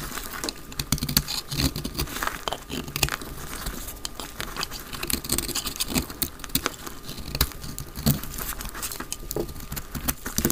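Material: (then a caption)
Soap. A solid, palm-sized dry white soap bar, held in the hand, is shaved into flakes with a utility knife blade. The result is a steady run of rapid, dry scraping and crackling cuts, with crisp, bright transients over a low background rumble.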